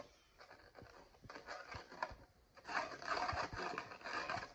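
Fingertips rub and scratch the printed foil lid of a Maggi Masala Cuppa instant noodle cup sitting on a glass surface. Soft, papery scratching and crinkly rubbing are punctuated by brief ticks, and the sound grows louder and denser in the second half.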